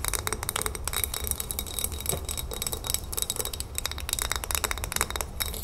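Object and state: Glass jar.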